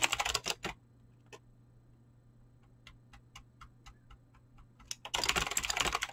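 Fingertips fast-type on a mechanical keyboard with clicky green switches and PBT plastic keycaps, producing bright, sharp clacks. A dense burst of typing opens the clip, slows to scattered single key clicks through the middle, then returns to a rapid, continuous flurry of keystrokes at the end.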